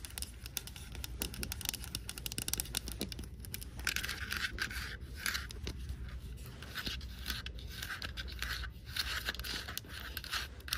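Long nails scratch and tap the sides and pink lid of a hollow, empty white plastic Valentine tumbler held in the hand. Dense, bright scratching and quick dry clicks run throughout over a low background rumble, with a few louder scraping bursts.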